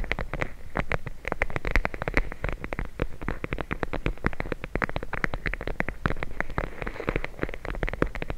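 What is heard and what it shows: A clear plastic bag full of teal gel beads, held over the mic, is tapped and scratched rapidly with long blue nails. It makes a dense stream of short, crisp clicks and crinkles over a soft, squishy low thump. Each tap dies away almost at once.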